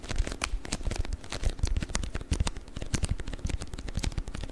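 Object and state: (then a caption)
Beeswax wrap. A rolled, beeswax-coated cotton wrap is squeezed and crinkled with the fingers, giving a steady run of dense, crackly crinkles. Many short, dry snaps follow one another with no ring, and most of the energy sits in a low thumping rumble beneath the bright crackle.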